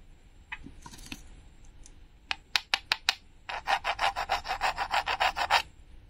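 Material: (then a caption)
Painted wood. Metal tweezers scratch at a small, flat, solid red painted wooden toy strawberry with a glittery sticker, held in the hand, and peel the sticker away. Faint scratching gives way to a few sharp, bright ticks, then a steady run of quick, raspy scraping strokes.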